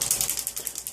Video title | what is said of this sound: Maybelline Dream Nude Airfoam Foundation Review | you can hear the the shaker ball in here